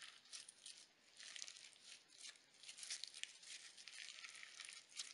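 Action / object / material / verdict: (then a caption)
scrape / slime packed with sequins and glitter / slime / none. A palm-sized lump of pale pink crunchy slime packed with iridescent sequins and glitter is squeezed, stretched and pressed by fingertips with glitter-polished nails. It gives quiet, bright crackling crunches in clustered bursts, almost entirely high-pitched with no low end.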